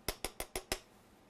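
A metal body part of a DJI Phantom 4 drone, a part that was plastic on the Phantom 3, is tapped lightly five times. Each tap gives a short, light metallic clink with a bright top and a quick decay.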